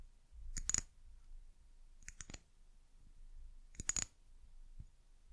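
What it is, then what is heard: Amber glass bottle. Long nails tap on an amber glass bottle with a white cap and label, making quick clusters of bright, glassy clicks that ring high and stop almost at once. Three short bursts of taps stand out over a faint low rumble, with a softer tap near the end.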